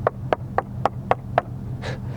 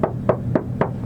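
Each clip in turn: First: Six even knuckle knocks on a deadened steel car panel give short, dull thuds with no ring: solid. Second: Four knuckle knocks on a bare steel car side panel, a boomy midrange thud that sounds hollow.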